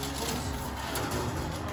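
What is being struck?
Nothing is struck.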